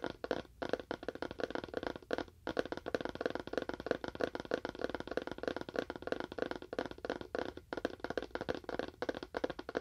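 A small, hollow, rectangular cardboard phone box with a wood-look finish is held in both hands and tapped with fingernails. The result is a steady stream of rapid, dry, clicky taps with a hollow midrange tone around 480 Hz, occasionally broken by very brief pauses.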